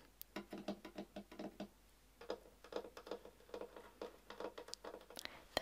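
Fingertips and nails tap and scratch along the inside board and back panel of an empty pink and purple painted MDF fibreboard bookshelf compartment, a hollow open box. About twenty quiet, dry, hollow knocks sound in two uneven runs, each dying out almost instantly with a mid-pitched tone. A few brighter scratches come near the end.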